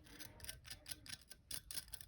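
The crisp top of a baked noodle kugel (egg noodle casserole) with golden-brown edges, not burnt, left to cool and set, gives off a series of sharp, tick-like crackles, quiet and mostly high-pitched. The sound is very crispy.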